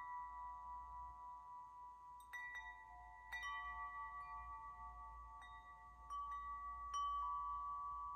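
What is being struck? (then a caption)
Hanging metal tube wind chime. A metal tube wind chime, with several long hollow metal tubes hanging from a hand-held top, is swayed and struck by hand. Each strike sets the tubes ringing with clear, sustained metallic tones centred around 1.1 kHz, plus bright overtones. The tones layer over one another and decay slowly against a faint low rumble.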